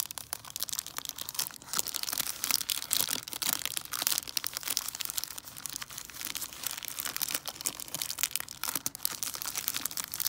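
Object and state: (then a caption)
Plastic-wrapped chocolate bar scratched with nails. Long nails scratch and crinkle the plastic wrapper of a large, solid milk chocolate Buck Bar, front and back. The result is a steady stream of bright, crisp crinkling and scratchy ticks with almost no low end, rising and falling in loudness throughout.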